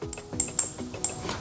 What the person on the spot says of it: アルミ仕上げで、金属音がします